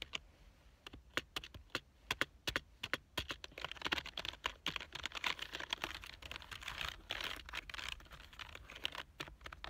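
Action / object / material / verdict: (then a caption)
tap / plastic computer keyboard / plastic / none. Fingertips type on the keys of a black plastic full-size keyboard lying on a couch. Sharp, bright clicks with very short decay come in spaced taps at first, then turn into a faster, denser run of typing from about the middle to the end.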